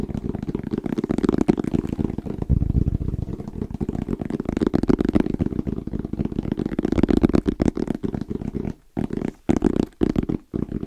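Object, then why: Fabric-covered EVA hard-shell zipper case. Fingertips tap quickly and irregularly on a small, closed, hollow black zippered hard case with orange trim and a fabric-covered EVA shell. The taps make dense, muffled, hollow thuds with a low-mid body and almost no bright content. The tapping runs nearly continuously, with brief gaps near the end.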